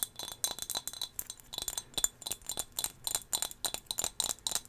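Long fingernails tap rapidly and steadily on a small, solid turquoise glass whale figurine held in the hand. Each tap is a bright, high, glassy click that dies away almost instantly, with almost no low end.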